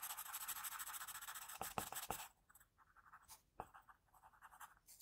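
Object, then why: Graphite pencil on a paper drawing sheet. An HB graphite pencil is scratched in short strokes near the chin of a pencil portrait on a flat sheet of drawing paper. The first two seconds bring dense, bright, hissy scratching with a few sharper strokes. The sound then drops to quieter, intermittent short scratches.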